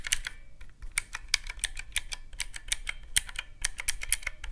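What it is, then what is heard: Plastic mechanical-key calculator. Fingertips repeatedly press the round black mechanical keys of a small teal plastic calculator, producing quick, bright clicks in an uneven rhythm over a low background hum. Each click is crisp and dies away almost instantly, and about 25 distinct presses can be counted.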